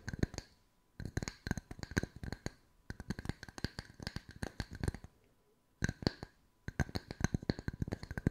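Long white fingernails tap the flat faces of a pair of identical solid round wood slice coasters with bark edges, one held in each hand. Quick, dry, hollow knocks come in rapid bursts separated by brief pauses, each tap dying away almost instantly, with a woody low body and a light, bright clicky edge.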